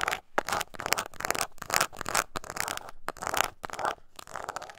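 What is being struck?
Small embossed leather coin purse.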